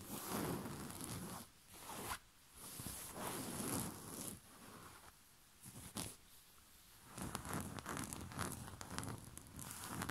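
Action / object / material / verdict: scrape / cotton bed sheet / cotton / none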